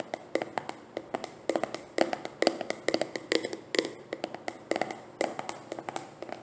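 A filled, medium white plastic leave-in conditioner jar with an orange label is held and tapped with long dark painted nails. The quick, irregular taps land in clustered bursts, each a short dry plastic click with a bright tone and almost no ring.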